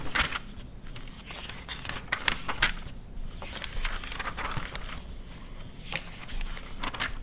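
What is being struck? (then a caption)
Glossy paper magazine. Long red nails flip the pages of an open glossy paper car magazine from 2009 and scratch across the printed paper. The result is quiet, dry crackling scrapes and crinkly page rustles with bright, short bursts and a low background rumble.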